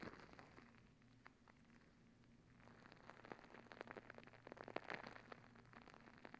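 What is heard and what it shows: A soft rubber squishy stress ball filled with gel beads is held over the mic and scratched with long nails. It makes quiet, crackly rustling with sharp clicky ticks that grow busier and louder in the second half, peaking near the end over a faint steady low hum.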